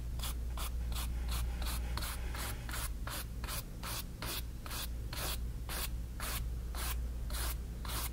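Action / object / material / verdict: scrape / stretched cotton canvas with a bristle brush / cotton canvas / none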